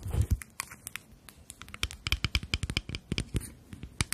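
Long natural nails tap and scratch a small rectangular glass cosmetic foundation bottle with a black cap, filled with beige liquid and held in both hands. The result is a rapid string of sharp, dry clicks with bright ringing glints and a low knock underneath, mixed with soft scratchy rustles between the taps.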